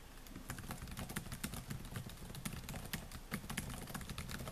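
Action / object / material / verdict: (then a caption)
tap / laptop keyboard with plastic keys / plastic / none. Fingertips type rapidly on the black plastic keys of a silver laptop. A steady stream of quick, bright clicks patters over a constant low rumble for the whole clip, with a few sharper keystrokes standing out.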